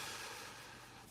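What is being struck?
Nothing is struck.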